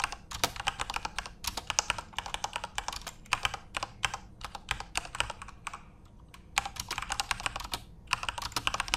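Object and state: Plastic mechanical keyboard.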